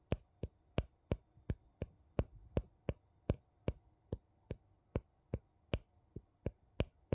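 A thin wooden piece and fingernails scratch the rim of a gold metal screw lid on a small, mostly empty glass jar held sideways. About 20 short, sharp ticks come at a quick, slightly uneven pace, each a dull low knock with a brief bright click and almost no ring. The clip has no speech.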